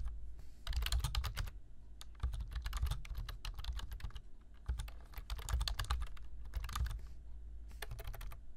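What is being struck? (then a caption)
Plastic computer keyboard. Both hands type with their fingertips on a black plastic computer keyboard, tapping the keys in quick bursts of crisp clicks separated by short pauses. Each keystroke is a short, dry tap with a soft low thud beneath a bright click.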